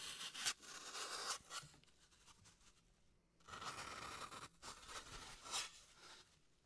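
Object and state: Floral foam block being scraped.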